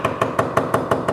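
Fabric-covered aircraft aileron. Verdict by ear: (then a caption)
Solid. Seven evenly spaced taps along the top of a fabric-covered Bellanca aileron, working back toward the trailing edge, check that the ribs are tight. Each tap gives a short, hollow, drum-like knock with a clear tone around 670 Hz. The aileron sounds solid, with no issue found on the top surface.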